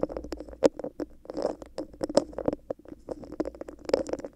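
Long decorated acrylic nails scratch and tap the raised bumpy surface of a hollow, clear textured plastic cup placed upside down over a microphone. The result is a quick, uneven patter of short, dry clicks and scratchy rustles with a hollow, boxy tone around 500 Hz and faint bright edges, each tap dying away almost instantly.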